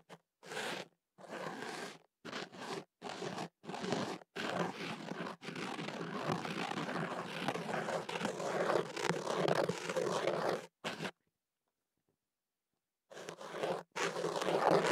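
A thin white ear pick scratches the inside of a hollow white kenaf paper tube wrapped around a microphone. Short bursts of dry, papery scratching and rustling come first, then a long continuous stretch of dense scraping. A pause of about two seconds follows before the scratching resumes.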